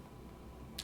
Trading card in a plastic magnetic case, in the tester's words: if you shake it you'll hear that there's no sound anymore